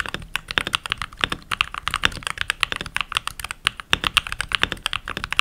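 Fingertips with short nails and rings on the fingers type continuously on a full-size backlit mechanical keyboard with pink plastic keycaps. Each key press gives a quick, bright plastic clack that dies away almost instantly, centered around 2.7 kHz, with little low end. The strokes come in a steady, uneven stream of rapid clicks.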